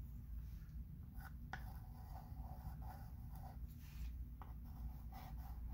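A wooden chalk pencil writes over the lettering on a flat wood-framed chalkboard, making quiet, soft scratching strokes. Brief sharper ticks sit over a steady low rumble that fills the background.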